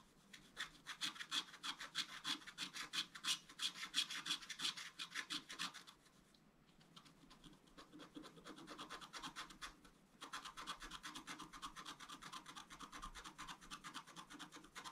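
A thin wooden stylus scratches across a flat black-coated scratch-art card held down by one hand. It makes a quick run of bright, dry scratching strokes, about three a second, with a faint thin squeak near 3.3 kHz in the first few seconds. The strokes soften and thin out through the middle before returning at full strength toward the end.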